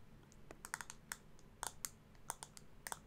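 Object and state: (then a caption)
Plastic makeup compact tapped with nails. Long acrylic nails tap and scratch a small, round, hollow pink plastic blush compact. About fourteen sharp, bright clicks with no ring-out sit over a faint scratchy hiss.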